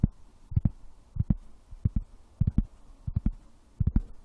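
A wooden object is tapped, giving fourteen soft, dull, low thumps that arrive mostly in quick pairs and small clusters. Each knock dies away almost instantly, with nearly all the energy deep in the bass and no bright ring, so the taps sound muffled and heartbeat-like.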